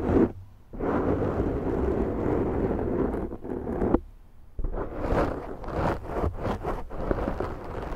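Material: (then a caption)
Foam. Long manicured nails on both hands scratch and grip a large black foam windscreen on a Zoom microphone, making a dense, muffled, rumbling scrape. The sound runs in long continuous stretches, dropping away briefly near the start and again around the middle before returning in choppier bursts.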